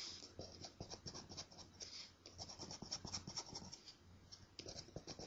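A coin scratches and rubs the coating on a thin, flat, solid paper scratch-off lottery ticket. Quick, dry, high rasping strokes come in a steady run of short bursts, with brief pauses between passes.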